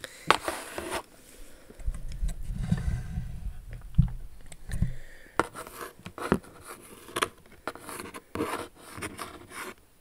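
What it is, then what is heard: Cardboard shoe box. Long acrylic nails scratch across the velvety, textured lid of a large pale pink Jimmy Choo cardboard shoe box. Dry, raspy scrapes alternate with sharp nail clicks, and a low rubbing rumble swells in the middle of the clip.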